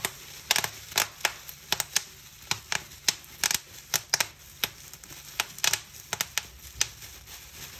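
Fingers twist a clear plastic bubble wrap sheet, popping its bubbles and crinkling the film. About 22 sharp, bright pops break out at uneven intervals over a steady high rustle of crackling plastic. Each pop is dry and dies away almost instantly.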